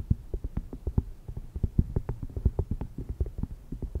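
A small, round, thin and solid cork coaster lying on top of a fluffy microphone cover is tapped and scratched with long red nails. About two dozen quick, dull, muffled taps come in an uneven rhythm, deep and bass-heavy with almost no high end. Each tap dies away instantly, with no ring.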